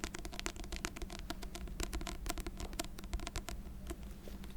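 A paper book of Beethoven piano sonatas is tapped repeatedly with quick, light taps that give short, dry clicks and faint scratchy scrapes. A steady low hum sits underneath throughout.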